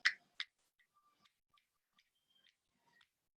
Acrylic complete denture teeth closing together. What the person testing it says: tapping sound one after the other here because she has a premature contact on her left back